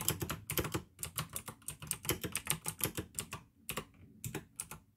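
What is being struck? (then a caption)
Plastic mechanical keyboard with clicky switches. Fingertips type fast on the keycaps of a full-size pink plastic AUKEY mechanical keyboard with RGB backlight, clicky blue switches and a hollow case. The result is a rapid, uneven stream of sharp, bright clicks, each with a short low, hollow thock beneath it, broken by brief pauses.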